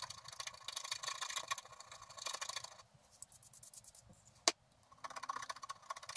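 A wooden stylus scratches the grass area near the bottom edge of a flat scratch-art paper card in quick repeated strokes. The result is a dense, bright, papery scraping with no low end, and it pauses briefly near the middle. One sharp, louder tick stands out before the scratching resumes.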